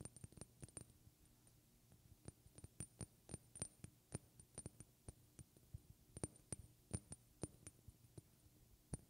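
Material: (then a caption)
Glass. A small, partly filled glass perfume bottle, held sideways close to the mic, is tapped with long red-painted fingernails. About thirty sharp, dry clicks come in irregular bursts, some harder and some softer, each dying away almost instantly over a faint low hum and a thin, steady high tone.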